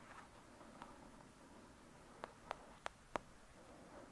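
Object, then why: Thick paperback paper book. Long acrylic nails tap the cover of a thick, solid "Lady Midnight" paperback book lying flat. Five quiet, short, dry taps are heard: one faint tap early on, then four sharper ones close together near the end. Each has a midrange knock that dies away almost instantly over a soft background hush.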